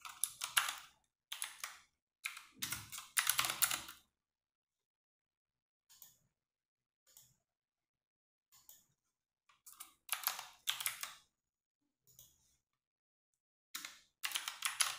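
Fingertips and long nails type on a compact 60% RGB-backlit mechanical keyboard with plastic keycaps. Bursts of bright, clicky keystrokes come at the start and end, with a quieter stretch of a few soft, scattered taps in between. Each keystroke stops almost at once, with silence between the bursts.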